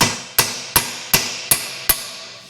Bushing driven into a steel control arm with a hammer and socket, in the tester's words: when it seats you can actually hear a little bit of a note change when you're hitting it